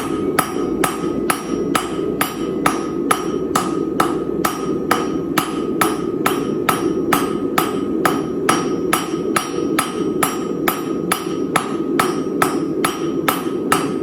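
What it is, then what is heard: Dull-sounding cast iron anvil. A Chinese-style turtle anvil, with a hollow-bottomed cast iron body and a tool steel top, is struck with a hammer about 31 times in a steady rhythm. Each hit is a short, dull clank with a faint tone near 1.2 kHz that dies away almost at once. The anvil gives a dull sound rather than a ring.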